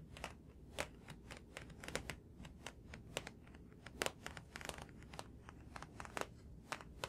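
A thick paperback graphic novel with a glossy card cover is held up close and tapped on the cover with fingertips and nails. The result is a quiet, rapid, irregular run of short, dry, crisp taps and clicks with bright edges, over a soft low background rumble.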